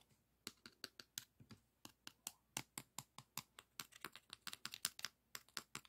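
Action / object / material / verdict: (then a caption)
tap / emery board nail file tapped and scratched with fingernails / emery board / none. Fingernails scratch and tap along the gritty surface of a long, flat beige emery board nail file. About 27 quick, dry, bright ticks follow one another in an irregular rhythm, each dying away almost instantly. The taps are quiet and sharp, with almost no low end.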